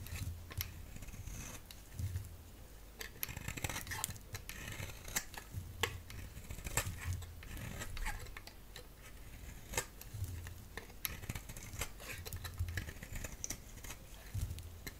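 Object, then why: Round bar of soap cut with a blade. A solid round peach-colored bar of soap, held in the palm, is shaved into strips with a utility blade. Quiet, crisp scraping strokes follow one another, each with bright, sharp ticks and crackles and a soft low thud beneath.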